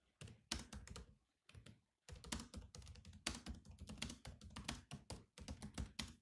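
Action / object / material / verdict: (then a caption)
tap / laptop keyboard, plastic keys / plastic / none. Both hands type with their fingertips on the black plastic keys of a grey laptop keyboard. Quick bursts of clicky taps, each with a dull low thunk and a bright click, are broken by short pauses.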